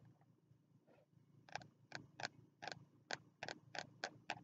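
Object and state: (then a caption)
Spiral notebook, fingertip tapping. Fingertips tap on the stiff cover of a small green spiral-bound notebook held upright in both hands. After a quiet start, a series of short, crisp taps comes at an uneven pace, each a dry, bright tick with little ring.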